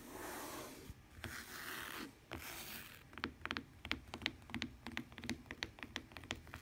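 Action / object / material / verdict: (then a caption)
tap / fabric-covered tablet case with plastic rim / fabric, plastic / none. Long dark-painted nails scratch across the woven fabric cover of a lavender tablet or e-reader case with a plastic rim, lying flat on a wooden table; the case is thin and hollow-backed. Bright, rasping scrapes fill the first three seconds, followed by a quick, uneven run of sharp, dry taps with almost no ring, and the case is moved around at the end.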